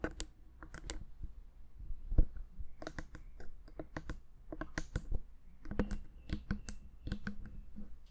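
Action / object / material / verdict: tap / plastic handheld audio recorder / plastic / none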